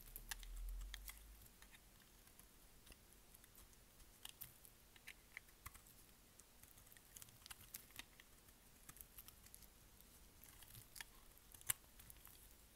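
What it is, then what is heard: Dry bar soap being shaved with a blade. A utility blade shaves and cuts pieces off a solid, dry, green oval bar of soap held in the hand. The result is a quiet run of short, crisp, bright scraping ticks and crackles that come at an uneven pace over a soft low rumble.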